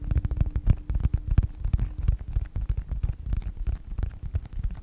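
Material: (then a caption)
Faux leather. A small, flat yellow faux-leather wallet or phone-case-style folio with a snap button is held upright close to the microphone and tapped and scratched with the short-nailed fingertips of both hands. It produces a dense run of quick, muffled, deep thumps mixed with soft scratching, with almost all of the sound low and dull and little brightness.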